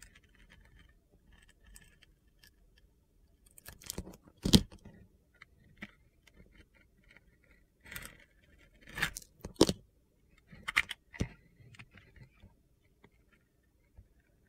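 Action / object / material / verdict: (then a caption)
scrape / glycerin soap bar cut with a steel blade / soap / none. A steel box-cutter blade scrapes and slices away the pink glitter outer layer of a solid, hand-sized soap bar that has clear colored glycerin soap cubes inside. Soft gritty scraping runs throughout, broken by sharper crunchy cuts that flare bright, with the loudest bursts near 4.5 s, 9.5 s and 11 s.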